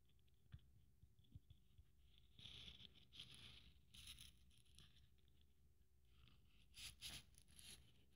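Long fingernails scratch and rub along the bead strands and glitter of a blue glitter Christmas ornament held in the hand. Quiet, bright scratchy rustles come in short bursts over a low background rumble, with a few light clicks early on.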